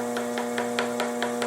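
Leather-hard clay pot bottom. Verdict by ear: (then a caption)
Thick. Taps on the bottom of a leather-hard clay pot on a potter's wheel, checked during trimming, give seven evenly spaced dull, muted knocks over a steady hum. The dull sound shows the bottom is still too thick.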